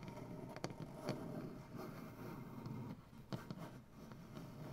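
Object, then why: Wooden butcher block tabletop. Fingernails on both hands tap and scratch a solid light wood butcher block tabletop. Sharp taps stand out over a steady low, dull scratching texture, with most of the energy sitting in the low range.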